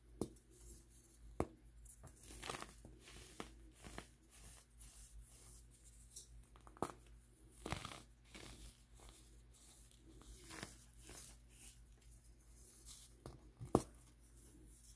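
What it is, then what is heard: Pressed baking soda block crumbling. A small, dry, chalky block of compressed baking soda is squeezed and crumbled between bare fingertips and thumbs, breaking into powdery chunks. Quiet crunching and gritty crumbling are heard, with sharp louder snaps near 1.4, 6.8 and 13.8 seconds over a steady low hum.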